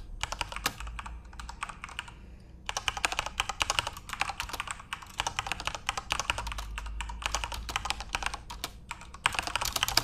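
A full-size Corsair RGB-backlit mechanical keyboard with plastic keycaps is typed on rapidly with the fingertips of both hands. Dense bursts of sharp, bright clicks and clacks run in quick runs, broken by brief pauses near the two- and five-second marks and again before a final flurry. Each keystroke dies away almost instantly, with a faint low hum underneath.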